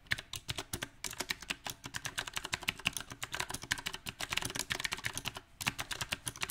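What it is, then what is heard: Mechanical keyboard with round plastic keycaps. Fingertips of both hands type unevenly on a small 68-key backlit mechanical keyboard with round, typewriter-style plastic keycaps mounted on a silver metal plate. The keys give off a rapid, irregular stream of sharp, bright clicks and clacks that die away almost instantly. Brief pauses break up the bursts of keystrokes.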